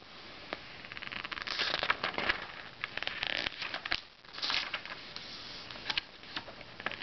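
Fingertips rub and lift the page edges of an open glossy paper Self magazine and turn its pages. Bright, crisp paper rustles, crackly ticks and soft swishes come in irregular bursts over a faint hiss, with little low end.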